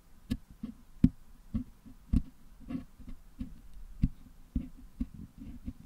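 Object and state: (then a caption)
Putty-filled metal microphone grille being picked. A wooden toothpick picks and scratches at the metal mesh grille of a Blue Yeti microphone, which is held in one hand and filled with red and green putty. The result is a series of short, dull, low clicks and scrapes with almost no ring, each followed by a faint brighter scratch.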